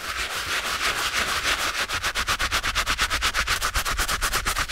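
A stiff-bristled brush held in a gloved hand scrubs the soapy canvas heel area of a TOMS canvas slip-on shoe. A bright, scratchy, hissing swish rubs across the fabric, blurring at first and then settling into quick, evenly spaced back-and-forth strokes at about two per second.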